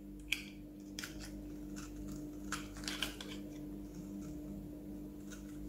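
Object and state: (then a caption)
Bar of soap scored with a blade. A metal utility-knife blade scratches and scores a grid into the surface of a solid, palm-sized oval green bar of soap held in one hand, shaving off small flakes. Brief, dry, bright scraping cuts sound over a steady low hum.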